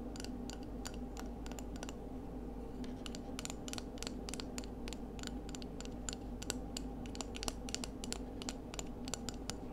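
A small, hollow, ridged pale scallop shell is held in both hands and tapped and scratched with long acrylic nails. The result is a rapid, irregular run of short, bright clicks and light scratches over a steady low hum.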